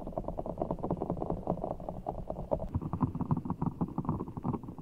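Fingertips squeeze and scratch a large, full, soft ball of blue water gel beads in a clear rubber skin, held over the mic. A steady run of soft, wet, squishy crackles sits in the low and low-mid range, with no high brightness and short, dampened pulses throughout.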